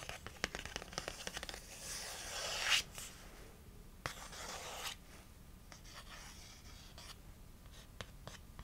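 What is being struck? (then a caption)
Small cardboard box. Fingernails scratch and tap a small, hollow printed cardboard box of hydrocolloid spot patches held in one hand. Quick, dry taps punctuate bright, hissy scratching that swells into two louder rasping passes. The clicks are crisp and die out almost instantly.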